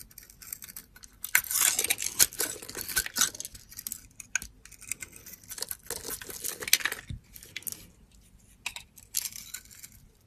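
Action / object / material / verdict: scrape / bar of soap with glitter coating / soap / none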